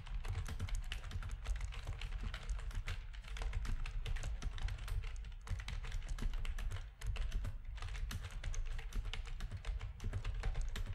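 Rapid typing with the fingertips of both hands on a full-size black plastic backlit RGB gaming keyboard with a hollow housing. A dense, steady stream of quick clacks carries a deep, hollow low thump under bright key clicks, each dying away almost at once. The flow dips briefly near the seven-second mark before picking back up.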